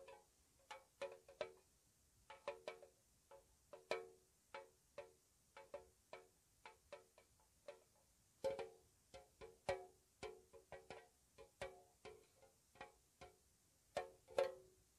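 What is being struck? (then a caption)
Small painted metal tea tin with lid. A small, hollow, square white-painted metal tea tin with its lid on is tapped on its side and edge with long nails. About 31 soft, quiet taps come at an irregular, unhurried pace, each a short hollow tinny click centred around 550 Hz with a bright edge. Every tap dies away almost at once.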